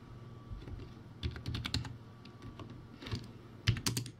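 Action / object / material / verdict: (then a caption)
tap / plastic typewriter-style keyboard keys / plastic / none. Fingertips type on a backlit, typewriter-style plastic keyboard with round white plastic keycaps, judged a poor-quality board. Irregular clusters of short, clacky keystrokes give a low, hollow thump with bright plastic clicks on top, each dying away almost at once. Quieter stretches fall between the bursts.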